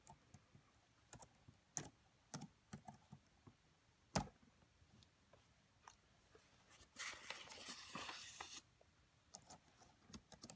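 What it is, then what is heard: Plastic laptop keyboard. Fingertips with medium-length nails type quickly on the black plastic keys of a red laptop, making quiet, irregular, sharp clicks with a sharper, louder click just after four seconds. From about seven to eight and a half seconds, a steady, bright, hissing noise sits under the taps before the scattered key clicks resume.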